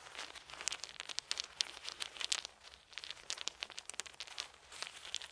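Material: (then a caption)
Wood. Small solid wooden beads held in both hands are rolled and rubbed together by the fingers, giving a dense run of quick, dry clicks and crackles. The sound is bright and high with almost no low end, and the taps come in close, uneven bursts that die away instantly.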